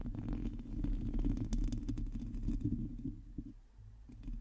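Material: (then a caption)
Metal mesh. Long teal nails of both hands scratch the hollow metal mesh grille of a black microphone. The result is a dense, low, rumbling scrape with rapid, uneven strokes and occasional bright crackles. It fades briefly near the end before picking up again.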